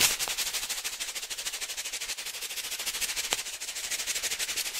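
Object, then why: Foil-laminate coffee bag with coffee. A foil-laminate coffee pouch filled with coffee is held in both hands and shaken rapidly back and forth. It gives a fast, steady run of bright, crisp crinkling rattles, about thirty pulses in under five seconds, with almost no low end.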